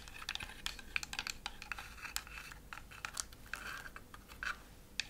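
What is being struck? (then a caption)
Thin laser-cut wooden house decoration. Long acrylic fingernails tap across the roof and front panels of a thin laser-cut wooden Christmas village decoration shaped like a house scene. A rapid, irregular series of dry, clicky taps sounds bright and crisp, centered around 2.4 kHz, with almost no ring after each hit.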